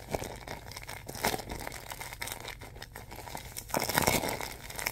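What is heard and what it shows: Fingers grip, pinch and scrunch the clear plastic film of a bag filled with soft white stuffing, producing continuous bright crinkling and crackling. The rustle rises in a denser, louder burst of scrunching near the end.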